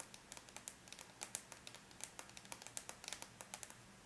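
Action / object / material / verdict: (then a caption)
tap / aluminum laptop lid / aluminum / none. Long bare natural nails of both hands tap on the closed silver aluminum laptop lid, a flat, thin, hollow-backed metal shell. A quick, uneven run of light, bright clicks, each dying out almost at once, sits over a faint, quiet background with almost no low end.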